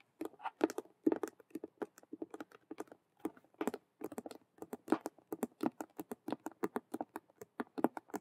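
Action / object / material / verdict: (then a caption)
tap / patent vinyl cube-shaped handbag / patent vinyl / none. Long nails on both hands rapidly tap and scratch the front face of a large, hollow, cube-shaped patent faux leather (vinyl) handbag styled as a Rubik's cube with stitched colored patches. About forty quick, dry, clicky taps come in irregular bursts, centered in the low-mid range with a bright top edge, little bass, and no ring between hits.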